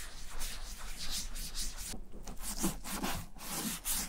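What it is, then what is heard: Leather satchel rubbed with balm. A gloved palm and fingers rub white balm into the tan leather front pocket flap of a German vintage satchel bag. The result is a continuous soft, swishing rub with repeated strokes that rise and fall, a bright hiss on each pass over a low, dull undertone.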